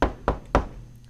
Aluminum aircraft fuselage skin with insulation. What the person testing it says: you can hear the hush kit does drop the noise level by a significant amount